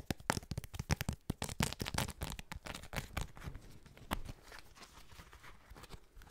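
A trading card inside a small, flat, rigid clear plastic toploader case is tapped and scratched with fingertips and nails. Rapid, dry plastic clicks and crinkly scratches come in a dense burst over the first half, then ease into quieter, scattered scratching with a few louder taps.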